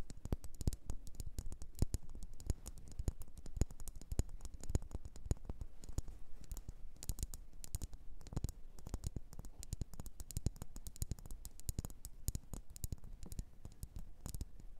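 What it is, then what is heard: Wax pillar candle. Long nails tap and scratch a solid red faceted wax pillar candle, making a dense, continuous patter of quiet, dry clicks. Each tap is short with almost no ring, and the sound sits mostly in a low, soft thud, with faint bright ticks on top.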